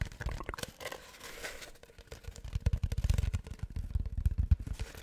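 An empty, long, hollow brown cardboard tube is held in both hands and scratched and tapped with fingertips and nails close to the mic. The result is a rapid, irregular run of crunchy, tearing scrapes and short dull taps. The taps are dominated by a low thump, with faint bright scratchy edges.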